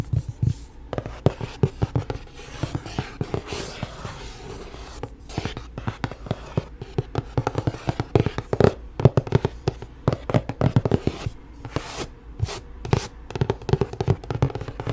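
Paperback books from the Shatter Me series are handled with tapping on their covers and pages turning. A dense run of short, sharp taps and soft rustles comes close up, with almost no voice.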